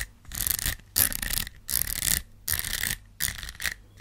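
Long black nails scratch across the surface of a thin, curved gold rhinestone sticker sheet. Repeated bursts of bright, raspy scratching with some low rumble beneath are separated by short quiet gaps.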